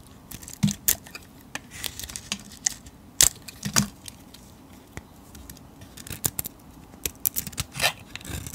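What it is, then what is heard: Painted soap bar being shaved. A solid cream soap bar with a glittery grey painted shell is held in the hand while a metal blade shaves off the coating and soap. A series of short, crisp, bright scraping and crackling cuts rises over a quiet low background hum. Each shave stops abruptly with almost no ring.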